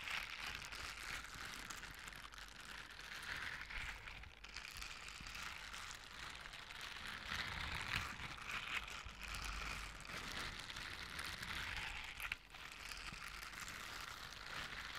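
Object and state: Silicone scrubber gloves.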